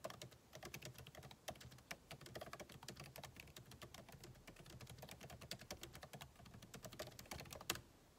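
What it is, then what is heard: Laptop keyboard typing. Fingertips of both hands type continuously on a backlit MacBook Pro keyboard with plastic keycaps set in an aluminum body. The quick, dry clicks and taps blend together with bright edges. One sharper tap stands out near the end before the typing stops.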